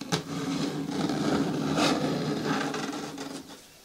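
Long nails scratch the lower sides and front of a medium-hard, hollow green plastic bin with a lid. The result is a steady, rasping scrape with a hollow low-mid tone and brighter bursts of friction, starting with a sharp scratch and fading toward the end.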